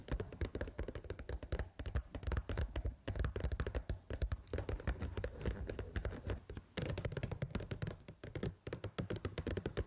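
Long pointed acrylic nails tap and scratch the rim and sealed lid of a small, pink printed paper Pad Thai rice noodle cup that appears full and unopened. The result is a dense, continuous stream of quick, dull, low-heavy taps and soft thunks with short scratchy bursts and a few brief pauses.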